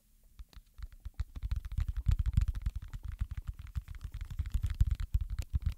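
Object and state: Silicone pop-it fidget toy.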